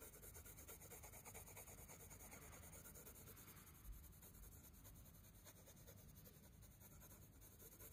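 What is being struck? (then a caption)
Wooden coloured pencil on a paper sketchbook page. A wooden coloured pencil tip rubs and scratches across a paper sketchbook page in continuous colouring strokes. The sound is a quiet, steady papery rasp with a faint bright scratchy edge over a low rumble, running throughout with no clear pauses.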